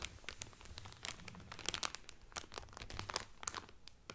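Fingertips and nails crinkle the clear cellophane wrapper around a blue Carnival cotton towel folded flat. Dense, bright crackles and sharp snaps come in quick, uneven bursts over a faint low rumble, and the overall level stays quiet.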